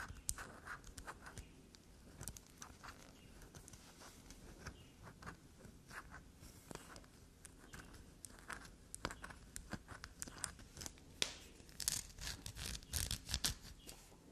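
A small solid black soap bar is held upright while long black nails scrape and dig into its surface, dropping shavings onto the table. The result is a quiet, steady run of fast, bright, crisp scratches and crunchy taps over a low rumble, growing denser and louder toward the end.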